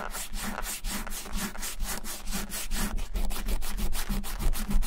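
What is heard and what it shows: A white rubber eraser is rubbed vigorously back and forth over a small, flat, closed brown leather bifold wallet lying on a white surface, leaving eraser crumbs around it. The result is a rapid, steady series of scratchy, hissing rubbing strokes, about three to four per second, over a low rumble.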